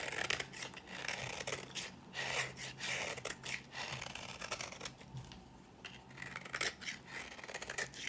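A thin slab of dry, old cream-colored bar soap is held in the fingers and scraped repeatedly with a metal blade, shaving it into powder. The quiet, dry, crisp scraping comes in rapid, irregular bursts, bright and hissy, with a faint low hum underneath.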